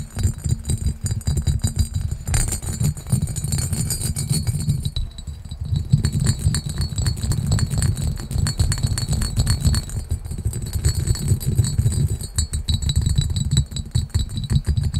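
Fingertips and short nails rapidly tap and scratch the textured body of a small, clear, hollow, empty pressed or cut glass pitcher with a diamond pattern. The result is a dense, continuous patter of quick clicks and scrapes, with a soft low thumping beneath and a faint, bright glassy shimmer above.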